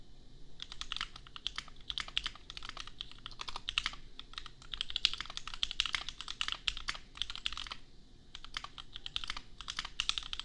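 Bare fingertips of both hands type on a $250 custom 60% mechanical keyboard with Gateron Milky Yellow switches and red and white plastic keycaps, resting on an anime desk mat. Quick, crisp clacks with a bright upper edge come in steady bursts, with brief pauses near 4 and 8 seconds. Each keystroke dies away almost at once.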